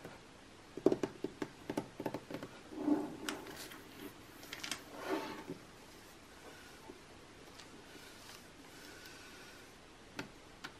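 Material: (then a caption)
Coated paper. Long painted nails tap quickly on the page spread of an open glossy magazine lying flat on a table, its thin coated paper pages resting on a soft stack. Crisp, papery clicks give way to brushy scratching strokes across the same spread. The sound then falls quiet, with two faint taps near the end.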